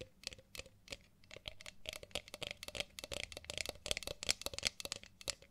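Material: Ceramic.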